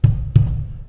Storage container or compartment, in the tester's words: nicht leer das hört man hört man beim Klopfen direkt raus